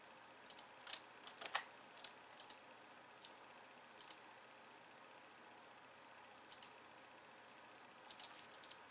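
One hand slowly presses keys on a pink plastic computer keyboard with white keys, using fingertips and long nails. About nineteen short, bright clicks come in small scattered clusters, with quiet pauses between them. The clicks are sharp and brief.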